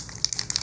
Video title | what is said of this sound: #139 - Marking Your Scuba Diving Gear | you can hear the little ball rattling the pump rattling